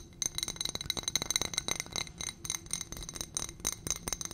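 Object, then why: Small ribbed glass footed dish. A small ribbed glass dish on a gold stem, holding white contents, is tapped and scratched with long nails. Quick, bright clinks and scrapes come in rapid, irregular bursts, with short-lived glassy tones ringing high.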